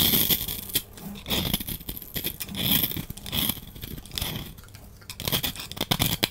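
A solid lilac bar soap is held in the hand and scraped with a utility knife blade, with powdery shavings falling away. Bright, gritty scraping and crackling strokes come in repeated waves, with a faint low rumble beneath.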